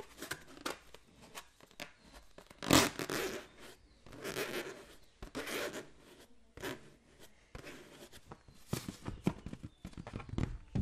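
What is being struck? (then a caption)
Latex balloon filled with water. A green latex balloon filled with water is tapped and scratched with the fingertips close to the microphone. Soft, broadband scratchy swishes alternate with sharp, bright taps, some with a faint wet slosh underneath, in irregular bursts throughout the clip.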